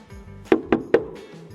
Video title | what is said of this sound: 太無恥！比亞迪又被罵慘！壓榨供應商要求降價！特斯拉退錢！降價後車主大鬧門店！中國巨嬰集體維權！比亞迪偷工減料！防撞梁起不到一點作用！塑料後備箱！被車企怒懟！ | This plastic makes a dull sound when knocked